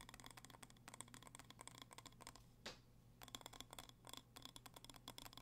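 A small red glass candle jar with a label, filled with wax, is held in both hands and tapped and scratched with fingertips and nails. Quick, bright clicking taps with a faint glassy tone come in rapid runs over a low steady hum. A single short scrape near the middle is followed by a brief pause before the tapping resumes.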